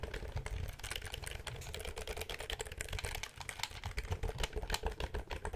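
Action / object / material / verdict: tap / plastic computer keyboard / plastic / none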